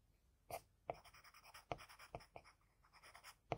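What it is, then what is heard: Pencil drawing on paper. Fingers hold a wooden HB pencil and draw short strokes with its graphite tip on a flat sheet of drawing paper. The result is a series of quiet, dry scratching strokes, with sharp taps at the start of several strokes and a faint bright hiss between them.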